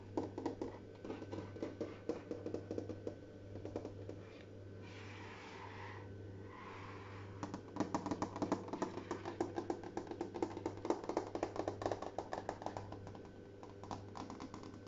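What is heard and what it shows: Fingertips and short nails tap rapidly across a large, flat, brushed stainless steel refrigerator door with a hollow panel, making quick, dry, dull ticks that die away at once. About halfway through, the tapping pauses for a few seconds of softer rubbing. A steady low hum runs underneath the whole time.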